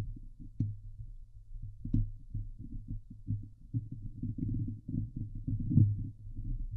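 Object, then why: Steel mesh microphone grille. Long glitter nails on both hands scratch the hollow steel mesh grille of a Blue Yeti microphone, making dense, low, muffled rubbing and thumping. The rasping comes in uneven bursts that swell and fade, with a few sharper scrapes standing out.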